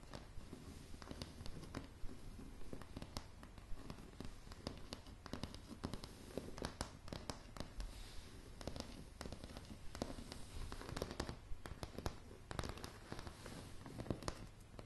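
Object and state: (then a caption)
Wooden floorboards. Long polished nails from one or two hands tap and scratch a light wooden plank floor. It makes a steady run of quiet, dry, short clicks and brushing scratches, mostly low in tone with little high sparkle.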